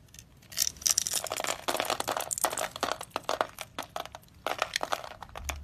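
A utility knife blade scrapes and carves a solid, palm-sized, orange-and-white striped dry soap bar held in the hand, shaving off small crumbly cubes. Dense, bright, dry crunching and crackling scrapes come in quick bursts with sharp snaps and almost no low end.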